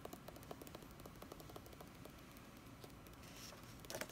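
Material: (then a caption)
Paper. Long red-painted nails tap and scratch across the printed paper pages of a large open hardcover D&D Player's Handbook lying flat. Soft, quiet clicks and dry papery scratches come in an irregular stream, with a brief brighter rustle near the end.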